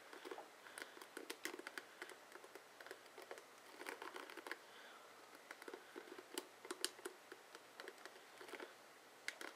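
Fingertips and short nails flick and scratch along the dense plastic bristle tips of a blue, hand-sized, oval plastic paddle hairbrush with a hollow head. The result is a quiet, irregular run of crisp, dry clicks and brief scratchy bursts with bright edges. Each one dies away almost instantly, with a faint steady hush in between.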